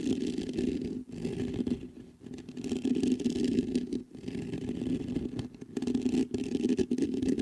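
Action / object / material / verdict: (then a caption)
scrape / metal mesh microphone grille / metal mesh / none. Fingertips scratch the top and sides of the mesh grille on a black metal USB condenser microphone. The result is a steady, dense scratchy rustle with a low, humming body, broken by a few brief dips where the scratching pauses or lightens.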